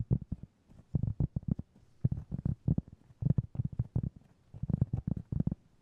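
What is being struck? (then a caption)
Cork trivet. A round, flat, solid cork trivet about 20 cm across is held in both hands and tapped and scratched with fingertips and short nails. Quick bursts of soft, dull, low thuds come in uneven clusters with brief pauses between them, each tap dying away almost at once and carrying little high sound.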